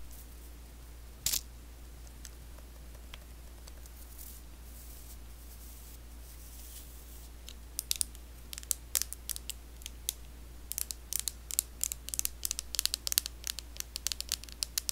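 Long blue acrylic nails tap and scratch the hollow body of a handheld pink and white plastic facial cleansing brush. A few isolated taps and faint scratches come first, then from about the halfway point a dense run of sharp, bright clicks. A steady low hum sits underneath throughout.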